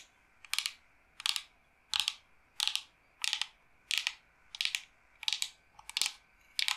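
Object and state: Smooth wooden board tapped with nails.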